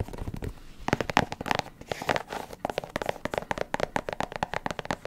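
Long acrylic nails tap and scratch the leather upper of an empty, hollow, light blue, white and yellow low-top sneaker (Nike Dunk style, rubber sole) held beside a microphone. The result is a rapid run of short, dry clicks and taps with faint scratchy rustling between them, each tap dying away almost instantly.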